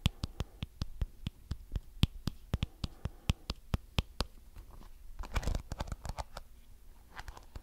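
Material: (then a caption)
Plastic. Fingertips flick and scratch the many thin colored plastic bristles of a small round blue plastic detangling hairbrush held close to the mic. A steady run of sharp, dry clicks with almost no ring is heard, then a denser burst of quick scratchy ticks near the end.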